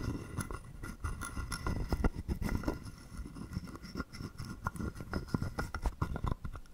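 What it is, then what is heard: Carved wooden frog guiro. A wooden stick is rubbed back and forth across the ridges of a palm-sized, hollow, carved wooden frog guiro. It makes rapid, irregular ratcheting rasps and clicks with a hollow, low-heavy wooden tone. Each click dies away almost at once.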